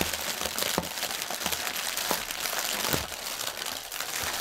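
Fingertips and nails scratch the film of a strip of inflated, hollow, air-filled clear polyethylene air cushions lying on a table. The result is a steady, dense, bright crinkling and rustling, with short, sharp crackly bursts scattered throughout.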